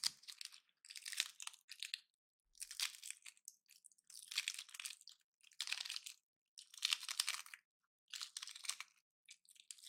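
A palm-sized, dry pine cone painted gold, with solid woody scales, is held in the hand while fingertips and nails snap and crush its scales off. Quiet, dry, crunchy crackles come in short bursts separated by brief silences, all high and bright with no low end.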